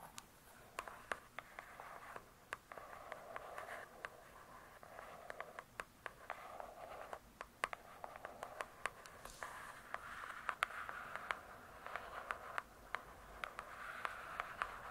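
Long nails tap and scratch the glossy cardboard cover of a large, closed hardcover book. Many sharp, quiet clicks ring only briefly, layered over a soft, continuous scratching hiss that is strongest in the mid range. The taps come in an irregular scattering throughout, with little low-end weight.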